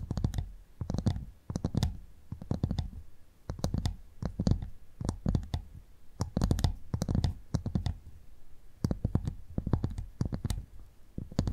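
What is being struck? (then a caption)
Clam shell. A cleaned clam shell is tapped in quick bursts, giving rapid, dry clicking taps with a dull, low-heavy body and sharp bright tips. Each tap dies away almost at once, with short pauses between clusters of taps.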